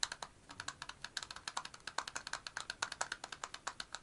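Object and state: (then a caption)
Metal aerosol deodorant can. Fingertips and nails tap rapidly on the cap of a black and purple metal aerosol deodorant can standing upright, producing a fast run of about 35 short, dry clicks. The taps are bright and high-pitched, with almost no low end and virtually no ring after each hit.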